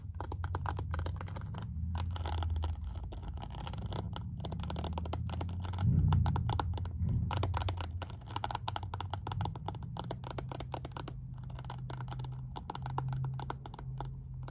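Long nails tap and scratch on the faceted holographic lid of a small pink plastic makeup compact. The result is a steady stream of rapid, irregular clicks and scratchy scraping with a dull, low-heavy tone, briefly louder around the six-second mark.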